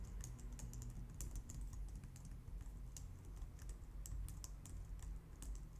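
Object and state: Plastic computer keyboard.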